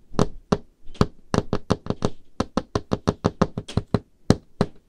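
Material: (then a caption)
Wood. Painted fingernails of both hands tap rapidly on the surface of a large, solid, dark-stained wooden table top. There are 21 short, dry knocks in an uneven rhythm, each dying out almost at once, with a dull, low-weighted body and a brief bright click on top.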